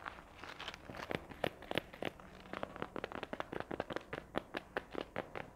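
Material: Faux leather.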